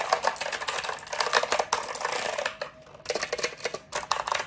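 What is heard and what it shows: A compact black plastic mechanical keyboard, held upright, is tapped and scratched rapidly by fingertips and nails across its keycaps. The result is a dense, chaotic stream of sharp, bright clicks and scrapes with a short pause near the three-second mark before the fast tapping resumes.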